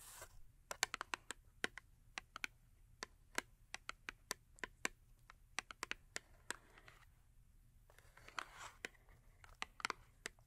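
Long acrylic nails tap quickly on the top edge of a small printed cardboard Yardley soap box, which still holds a full bar of soap and has its back side facing forward. About thirty sharp, bright clicks with almost no ring come in quick, uneven bursts. Around the eighth second, a soft scratchy rustle joins in, all at a quiet level.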